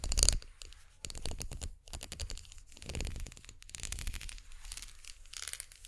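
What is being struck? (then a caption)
Ridged plastic brush handle. A ridged plastic unicorn-horn makeup brush handle is held horizontally in both hands while long nails scratch and tap along its spiral. A sharp tap opens the clip, followed by bursts of rapid, bright, ridged rasping separated by brief quiet gaps.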